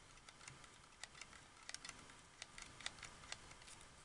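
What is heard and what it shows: The triggers of a white, hollow, hard-plastic wireless Xbox 360 controller are clicked, then the lower edge of its shell is tapped with fingertips and nails. About twelve quiet, sharp, bright clicks and taps sound at an uneven pace, each dying away almost instantly over a soft hiss.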